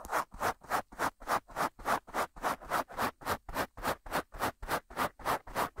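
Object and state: Foam microphone windscreen scratched.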